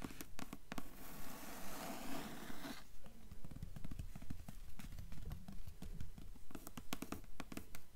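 Long nails tap and scratch the dark blue cloth-board cover of a thick hardcover book lying open on a table, its closed cover portion on top. A steady run of low, dull clip-clop-like knocks sounds, with a stretch of hissy scratching early on before the tapping continues.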